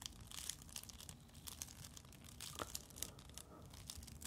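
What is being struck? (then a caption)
Coil of thin flexible plastic tubing. Fingertips and long nails rub, squeeze and scratch the loops of a glowing coil of thin, flexible plastic tubing held close to the microphone. The result is a quiet, steady run of bright, crinkly scratches and squeaky plastic rubbing with short, sharp clicks over a low rumble.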